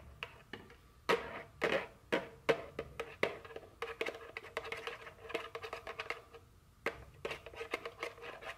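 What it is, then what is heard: Cardboard candy box tapped and scratched. A small printed cardboard chocolate candy box, likely full and held in a hand, is tapped and scratched with very long fingernails. Irregular sharp, dry taps, some louder than others, mix with softer scratching. Each tap has a hollow papery tone around 460 Hz and dies away almost instantly.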